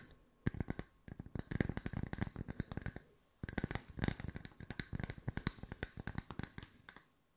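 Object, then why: Wooden discs. Wooden circles are tapped with the fingertips at mixed speeds for ASMR, giving quick, dry taps with a low, woody body and a bright click on top. The taps come in two dense runs split by a short pause, and each one dies away almost at once.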